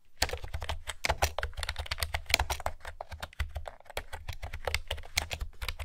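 Fingertips with long nails type on a pastel plastic retro keyboard with round keys, producing a rapid, steady stream of bright, hollow clicks. A faint low hum runs underneath throughout.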